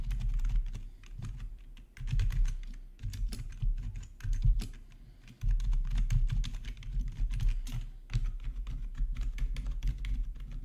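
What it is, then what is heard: Plastic keyboard being typed on. Fingertips of both hands type on a full-size black plastic RGB backlit gaming keyboard resting on a marble surface, with one hand reaching over to the green numpad area. Quick, tightly decaying key strikes come in uneven bursts with short pauses, each press a dull low thud topped by a faint bright click.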